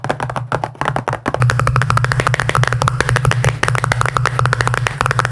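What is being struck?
Small round plastic tub.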